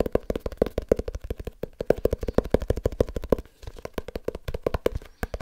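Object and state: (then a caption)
Small leather-bound book tapped. Fingertips tap rapidly on a small leather-bound book. The result is a fast, uneven stream of short, dull knocks with a hollow midrange tone and no ring, broken by a brief pause partway through.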